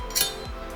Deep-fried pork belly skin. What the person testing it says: Hear that? That's the sound of crispy. Hear that? Hear that? That's crispy pork.